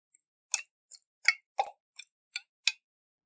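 Fingernails tap on a round, hollow glass jar with a metal lid and water inside as it is tilted in the hands. After a faint first tick come seven short, bright clicks at an uneven pace, each dying away almost instantly, with one carrying a slightly lower, fuller knock.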